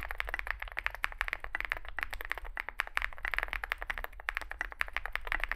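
Fingertips type continuously on a small Zoom65 65% mechanical keyboard with a dark case and white and grey plastic keycaps. About forty quick, dry keystrokes clack in a steady stream, each one a short bright tap that dies away at once over a faint low hum.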